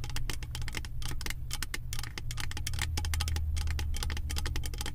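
Long white-tipped nails tap and scratch the surface of a round, embossed silver metal lid from a 3-wick candle jar. Rapid, bright clicking taps and light scraping run continuously over a steady low hum.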